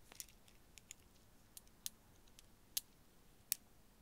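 A string of small faceted blue glass beads, hanging from the fingertips beside a furry microphone, is jiggled and shaken so the solid beads click against each other. About eight quiet, bright, dry clicks come at irregular intervals, each stopping instantly with no ring, over a faint hiss.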